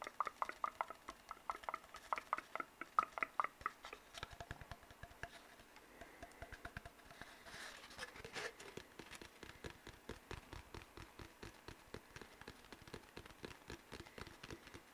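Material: Cardboard.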